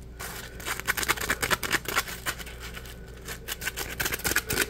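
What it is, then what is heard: Polymer foam scrub sponge. A dry, palm-sized, porous yellow Scrub Daddy polymer foam sponge is squeezed and crushed in the hand and scratched with fingertips. The result is a rapid series of bright, crackly, scratchy bursts over a low steady hum, each dying away almost instantly.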